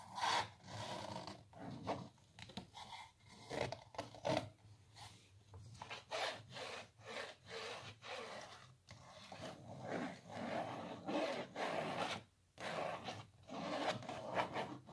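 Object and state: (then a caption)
Canvas on wooden frame scratched with nails. Long natural nails scratch across a small, hollow printed canvas stretched on a wooden frame. A series of quick, dry, rasping strokes is heard, with a hollow midrange body and bright scratchy edges. Each stroke stops almost at once, with very little ring.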